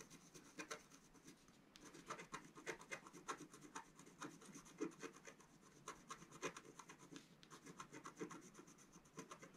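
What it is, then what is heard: Scratch-art card being scratched. A wooden stylus scrapes the coating of a flat, black-coated scratch-art card held down by one hand. The result is a quiet, steady run of short, dry scratching strokes with a bright, papery rasp.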